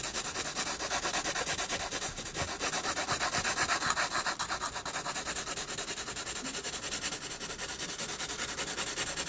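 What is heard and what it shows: A pencil tip rubs back and forth across a sheet of a spiral sketchbook, shading the lower body of a penguin drawing. It makes a steady stream of quick, dry scratching strokes with a bright, hissy texture and almost no low end. The strokes pulse evenly throughout.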